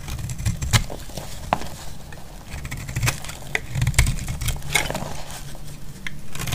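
A utility knife blade cuts and scrapes along the edge of a solid, dry yellow bar of soap. Crisp, dry crackles and brittle snaps burst out in bright flashes over a steady low rumble, with short scraping passes in between.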